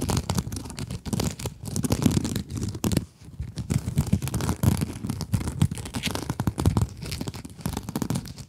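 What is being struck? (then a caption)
Mesh scrub sponge. A small pink scrub sponge with glittery mesh, held above the microphones, is scratched with long acrylic nails. The result is a steady, dense rasping and crinkly scratching, full in the low end with faint bright edges, easing into a brief lull around the three-second mark before resuming.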